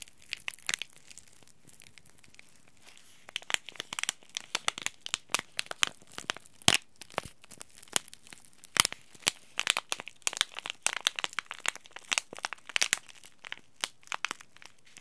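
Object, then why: Laminated plastic-foil tea bag packet. A small green laminated plastic-foil tea bag packet is scratched and crinkled by fingertips and short nails. Bright, dry crinkles and sharp crackling ticks start sparse and quiet, then turn dense and busy from about three and a half seconds on, with almost no low end.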